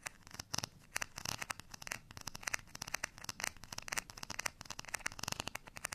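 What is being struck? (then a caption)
Ridged plastic rice paddle. Fingernails scratch the textured surface and rim of a beige, ridged plastic rice paddle held edge-on in the hand. The result is a rapid series of dry, bright scratching and ticking bursts with very little low end and almost no ring after each stroke.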